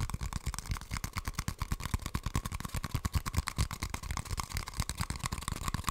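An empty, hollow brown cardboard toilet paper tube is held upright and tapped rapidly with long nails. The quick, dry, hollow taps carry a low thud near 105 Hz and a faint tone around 1 kHz, and each one dies away almost instantly.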